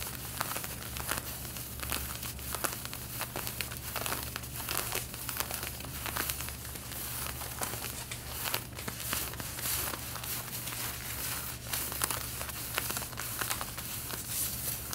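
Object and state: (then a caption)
Denim jeans. Long red-painted nails scratch the side waist area of light blue denim jeans being worn. A continuous dry, scratchy rasp with bright crinkly texture and dense quick strokes runs at a steady, quiet level over a constant low hum.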